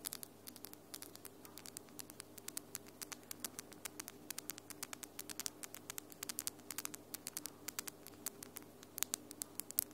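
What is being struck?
Acrylic fingernails.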